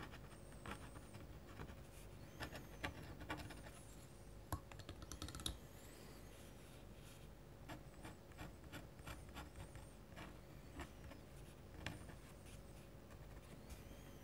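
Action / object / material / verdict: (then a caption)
scrape / metal pen nib on paper / paper / none. A dip pen with a metal nib moves in short strokes across a large flat white paper sheet bearing an ink landscape drawing, lying on a desk. The clip is quiet and scratchy, with soft rubbing and a series of brief, sharper scrapes and ticks over a low steady hum.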